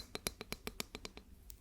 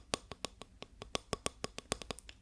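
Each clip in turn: First: plastic ruler. Second: wooden ruler.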